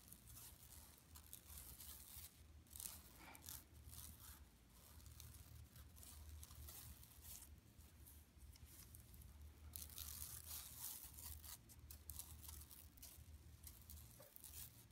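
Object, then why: Woven plastic mesh bag. Long nails scratch across the woven mesh of a flat, empty yellow plastic mesh tote bag lying on carpet. Bright, dry rasping and crinkling strokes come in repeated bursts over a steady low hum, growing busier and louder in the second half.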